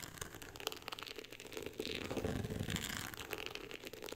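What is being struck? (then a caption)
Cloth-covered hardcover book. Long acrylic nails scratch and tap the woven-texture beige cover of a closed hardcover book lying flat on a pink fur rug. The result is quiet, dry crinkly scratching dotted with short, sharp taps. The scratching thickens into a denser, fuller rasp in the middle of the clip.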